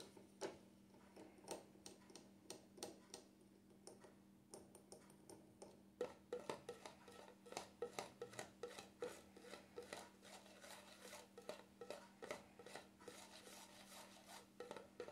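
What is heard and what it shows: Fingertips and nails tap and tick on the top and rim of a small cream jar's black plastic lid, making a quiet stream of short, dry clicks that begins sparse and becomes quicker and denser after about six seconds. A steady low hum runs underneath the whole time.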